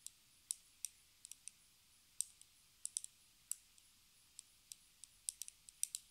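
Long red acrylic nails tap a small, hollow, square pink plastic lipstick case with a gold band, held in the hands. About 21 quiet, sharp, bright clicks come at an uneven, unhurried pace, each dying away almost instantly, with almost nothing in the low end.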